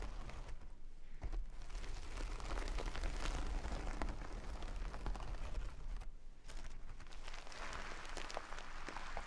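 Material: Burlap.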